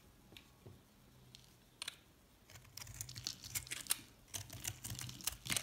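A metal cutter blade scrapes and slices the surface of a white recycled soap bar with orange, pink and purple chips, held in the palm. A few faint, scattered ticks give way to dense, crisp, bright scraping and crackling that grows louder. Each short cut stops dead with no ring.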